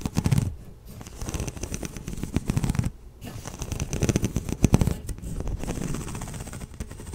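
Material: Plastic.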